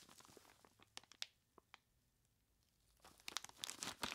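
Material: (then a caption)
Plastic, ice. Purple nitrile-gloved fingertips squeeze and scratch the sides of a large clear plastic bag full of crushed ice. Sharp, bright crinkles and crunches come in scattered bursts, then a quiet stretch of near silence. A denser run of crackling rustle builds toward the end.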